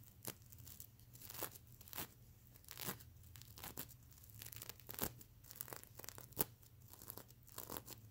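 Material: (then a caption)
Plastic sequins. Fingernails of both hands scratch across the plastic sequins covering a plush pillow, making quick bright rasping and crinkling scrapes. Short, irregular bursts sit over a faint low hum.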